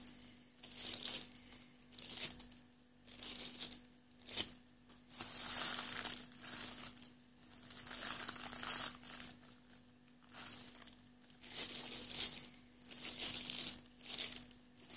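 Fingertips press, scratch and rub the top of a small cardboard box for Sound Intone i68 headphones, still sealed in clear plastic wrap, crinkling the film. Bright, high crackling bursts rise and fade in repeated waves, separated by short quiet gaps, over a faint steady low hum.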